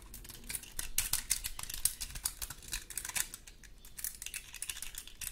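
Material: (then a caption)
Wood. Long gold metal claw nails scratch across the scales of a large, dry, woody pine cone held in both hands. The result is a quiet, rapid stream of dry, crisp clicks and rasps. Each tick is bright and stops almost instantly, with a faint low rumble underneath.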